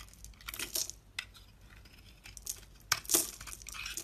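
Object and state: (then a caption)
Bar soap being shaved. A utility blade scrapes and shaves flakes and curls off a solid pink rectangular Actimed bar soap held in one hand. Bright, crisp scraping and crackling strokes come in irregular bursts. The strongest are around 0.8, 2.5, 2.9 and 3.2 seconds.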